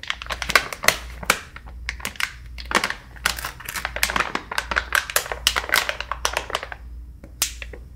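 A full soft plastic-film pouch of facial wipes with a hard plastic lid is tapped with fingertips and nails, then squeezed and crinkled between both hands. Quick, bright clicks and crackles come in dense clusters over a faint low hum.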